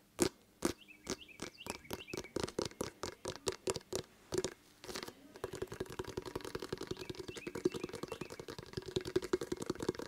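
Fingertips tap and patter on the pebbled surface of a hollow, full-size inflated rubber basketball held in the other hand. Slow, evenly spaced taps with a short, hollow, dull thump give way around the halfway point to a fast, continuous drumming patter. Each tap dies out almost instantly.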